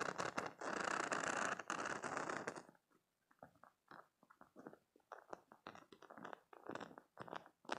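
Fingernails flick and scratch the rows of spikes on a soft, hand-sized green silicone spiky cube stress toy while the other hand holds it. A dense, continuous rubbery scratching comes first, then breaks into quick, uneven bursts of dry, bright flicking and scraping separated by short silences.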